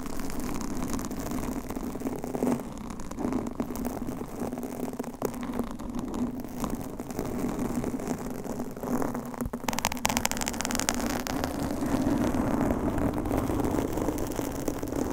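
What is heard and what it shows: Long manicured nails scratch and tap across a large, rounded, soft and porous blue foam windscreen on a microphone, with hands moving around the foam. A dense, crackling scratch and rustle runs the whole time over a steady low hum near 240 Hz. Around ten seconds in, the texture turns brighter and busier.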